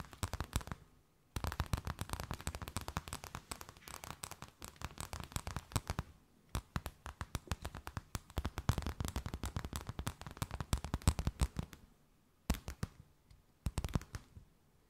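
A thin, empty, clear plastic bag held between both hands is tapped, scratched and crinkled with long nails. Rapid, dense bursts of soft crackling taps and crinkles come in a low, thumpy register, each snap dying away almost instantly. Brief pauses fall near 1 s, 6 s and 12 s.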